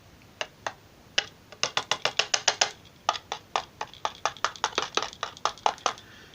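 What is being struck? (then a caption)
Cardboard partition wall in a radio battery compartment. Tapping on the black cardboard partition wall inside the battery compartment of a 1970s Optalix TO-100 portable radio during reassembly. It makes 28 dry, light taps with a hollow, papery knock and no ring, and the sound confirms the wall is cardboard.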